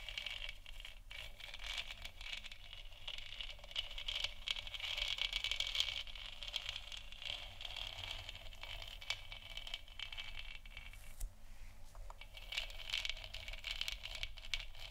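Long nails scratch and tap the sides of a large, hollow, 3D-printed plastic moon lamp sphere lit white. The result is a steady, bright, scratchy rasp centered in the upper mids, with quick dry taps and rattles mixed in and a brief pause near the 11-second mark.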